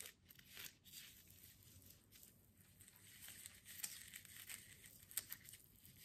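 Long manicured nails scratch and rub the coarse jute burlap wrapped around a small potted succulent with a twine bow, held in both hands, the pot solid and filled with soil or foam. A quiet, bright, dry scratching and crinkling continues throughout with no lasting ring, punctuated by a few sharper rasps.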